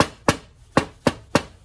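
A green steel Toptul bit-set box is knocked on several times, giving short, dull, mid-pitched knocks that die away almost at once. Its sound comes across as cheaper than the Würth box.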